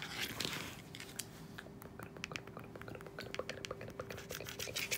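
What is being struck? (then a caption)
Hard plastic handheld remote. Long acrylic nails tap and click on the rubber buttons and hollow casing of a handheld hard plastic hospital bed remote, or pillow speaker, lying on a bed sheet. The result is a quick, irregular run of bright, dry clicks and scratchy taps over a faint steady low hum.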